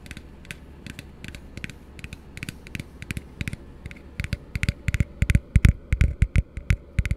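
Fingertips tap, squeeze and scratch the base and side of an empty, hollow plastic cup that is held and tilted, producing creaky plastic sounds. About thirty short, dry taps and clicks come at an irregular pace, each with a dull low thump and a bright click. They start soft and grow louder and denser in the second half.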